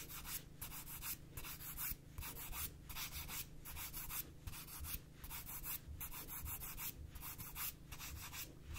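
Long nails are drawn back and forth across the gritty abrasive surface of a black emery board nail file in a filing motion. The result is a steady, rhythmic scratchy rasp, with bright hissy bursts on each stroke over a low rumble. Short breaks fall between the strokes.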